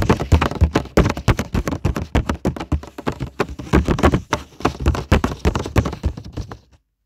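Fingertips and short nails of both hands tap repeatedly on a flat, thin paper coloring page lying on a table. The taps come quickly and unevenly, each a dull, low-weighted thud with a faint papery tick that dies away almost at once. The tapping continues for nearly seven seconds before stopping into silence.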